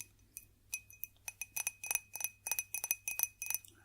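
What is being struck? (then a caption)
Glass drinking glass. A classic drinking glass is tapped in an irregular series of about sixteen light, high-pitched glassy clinks that sound bright and short, with a faint ring that quickly fades between taps.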